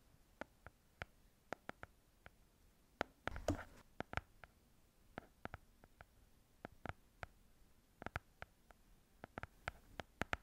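A small, closed pink hardcover paper book is held in the hands while its cover is tapped and scratched with long nails. About 30 short, dry clicks land at an uneven pace with almost no ring, and a brief rough scratching burst comes early on. It is all quiet and soft against near silence.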